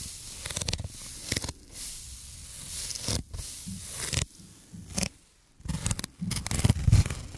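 A handheld, solid, rectangular block of dense black foam or felt-like material is scratched and rubbed with fingertips and nails close to the microphone. Uneven bursts of dry, bright scratching and rustling sit over a heavy low, thumpy rumble, broken by brief quiet gaps.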